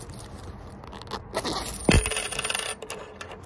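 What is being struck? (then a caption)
Leather zipper coin purse holding coins. A small fish-shaped tan leather coin purse with yellow zigzag stitching and a zipper is held in the hands while fingertips and short nails scratch and rub its leather surface. Dry scraping and rustling come in bursts, with a brighter sweep near the middle and the faint chink of coins shifting inside.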